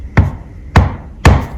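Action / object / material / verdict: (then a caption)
knock / laptop chassis / unknown / solid. A laptop chassis, either a Lenovo X1 Carbon 7 or a Dell XPS 13 (7390), is tapped three times. Each tap gives a short, low, dull knock with little ring, and the chassis sounds solid.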